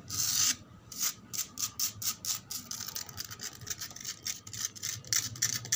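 Long pointed nails scratch and rub across flat, solid, sandy concrete ground outdoors. A bright, hissy rasp opens the clip, followed by a quick run of short, gritty scratching strokes that are mostly high-pitched with almost no low end.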